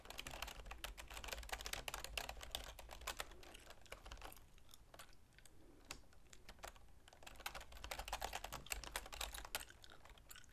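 Long nails and fingertips type continuously on a full-size black plastic keyboard with a silver plastic frame. Rapid, dry, bright clicks and taps follow one another closely over a steady low hum. The typing eases off in the middle of the clip and then picks up again.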